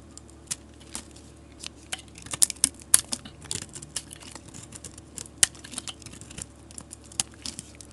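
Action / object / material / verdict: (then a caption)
scrape / bar of soap scraped with a metal blade / soap / none. A metal utility knife blade scrapes long shavings off a solid green bar of soap held in a hand with long nails. About twenty sharp, bright scraping crackles come in uneven bursts, each dying away almost instantly, over a faint low hum.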